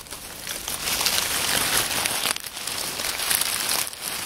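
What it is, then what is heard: Dry oak leaves. A pile of dry, crisp oak leaves on a wooden table is squeezed and rustled by hands and fingers. The result is a steady, bright crackling crunch, mostly high-pitched with almost no low end, that briefly dips before picking up again.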